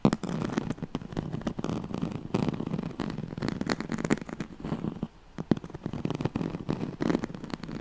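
Fingernails scratch rapidly across the ribbed weave of a yellow striped woven oval pad, a straw-like fabric mat. The result is a dense, dry crackling rasp in close bursts, with a short lull near the five-second mark before the scratching resumes.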